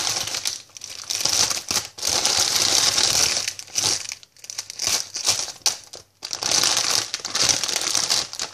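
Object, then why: Plastic bag of sweets. A white "I love sweets" plastic packet, opened at the top and filled with sweets, has fingers reaching inside, then is crinkled, squeezed and tapped on its surface with long painted nails. Bursts of bright, dense crinkling rise and fall with short quiet gaps between them, with almost no low end.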